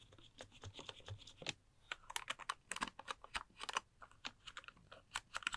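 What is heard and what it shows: A pink plastic computer keyboard is held up beside a microphone while fingertips type and tap quickly on its plastic keys. About two dozen short, bright clicks come in an uneven rapid patter, each dying away almost instantly.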